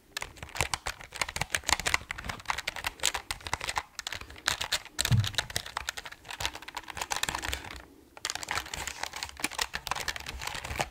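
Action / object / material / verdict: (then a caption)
tap / mechanical keyboard, plastic keycaps on aluminium plate / plastic / none. Fingertips type and tap the keys of an RGB mechanical keyboard with plastic keycaps on an aluminum plate, which is tilted at first and then held level. The result is a steady run of rapid, short, bright clacks with very little ring, a duller low thump around five seconds, and a brief pause near eight seconds before the typing resumes.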